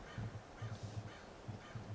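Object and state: Nothing is struck.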